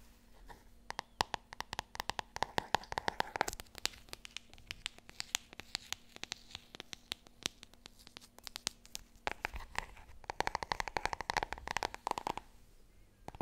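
Long red nails rapidly tap and scratch the glossy cover of a large, solid hardcover book, "Het grote wonder." Fast bursts of sharp, dry clicks with a mid-range ring come in the first few seconds and again near the end, with a sparser stretch of taps and soft scratching in between. Each tap dies out almost instantly over a faint steady low hum.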